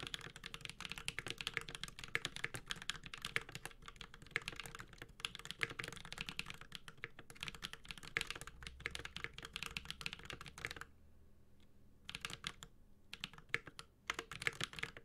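A Space65 Cybervoyager 65% mechanical keyboard, with a white-gold aluminum case, plastic keycaps, a carbon fiber plate and tactile Holy Panda switches, is typed on steadily with the fingertips of both hands. Dense, bright, crisp clacks come in rapid runs with very short ring, pause briefly around the eleven-second mark, then return in short bursts to the end.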